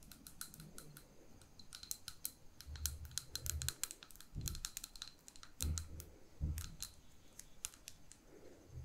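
Long painted nails tap quickly and irregularly on a small, lit glass jar candle with a ribbon bow at its neck, held in both hands. The taps come through as crisp, bright clicks over soft low thumps and rustling.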